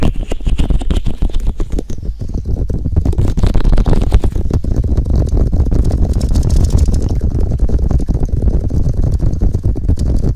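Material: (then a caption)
Silicone. Fingertips and nails tap and rub the hollow, white silicone ear-shaped pieces on both sides of a black 3Dio binaural microphone. The result is a dense, continuous stream of muffled, deep thumps and rumbling scrapes with almost all energy in the low bass and only faint brighter rustle above.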